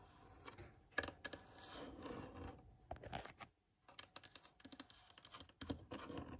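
Long nails and fingertips scratch and tap the rough surface of an old, cracked, solid wooden block or plank with metal screw heads. Quiet, dry scraping mixes with sharp, short-lived clicks and taps, with a brief silent pause midway before the scratching and tapping resume.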